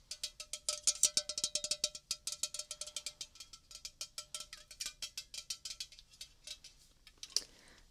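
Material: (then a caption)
Aluminium. A red, unopened, hollow Coca-Cola aluminium can of about 330 ml is held in one hand beside the microphone and tapped with fingernails. It gives a long, rapid run of short, bright metallic clicks with a faint ringing tone underneath. The taps soften toward the end, broken by one sharper click and a brief scratchy rustle.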